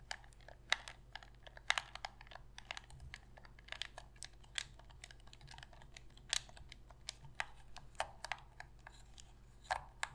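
A black Sony PlayStation controller of hollow hard plastic is held in both hands while long pink nails tap, click and press its buttons and scratch its plastic shell. Many quick, sharp, bright clicks and taps stand out over a quiet, steady low hum. Each tap dies away almost instantly.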